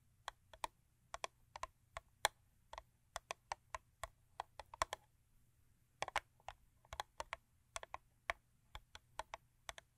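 Long acrylic nails, with rings worn on several fingers, tap the top edge of a closed, long thin purple Crest paperboard toothpaste box lying on fur. About 35 quick, dry, bright clicks come in an uneven typing-like rhythm, each dying away almost instantly over a faint low hum.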